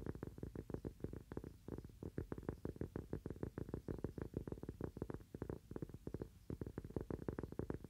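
A small, round, thin, solid cork coaster is held in both hands and tapped quickly with fingernails. The taps come as a fast, uneven stream of soft, dull, low knocks with almost no ring, carrying little high-end brightness.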